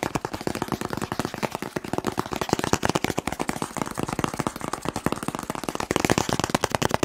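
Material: Cardboard.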